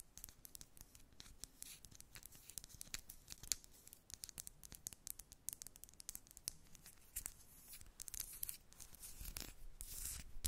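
Long red nails tap and scratch the casing of a small, hollow, white rectangular plastic Sheglam highlighter stick with a cap, held in both hands. Quick, dry clicks and scratchy rasps follow one another throughout, bright and crisp, with almost no ring. A denser burst of scratching swells near the end.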